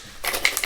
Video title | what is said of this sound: Channel Talk and Micro Jig Storage Solutions. | you hear the blades of the spinner bait hitting one another